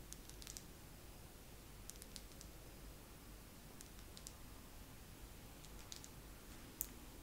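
Long nails tap slowly on a wax pillar candle, making soft, dry, bright clicks that die away almost instantly. The taps come in small, spaced clusters over a quiet, steady low hum.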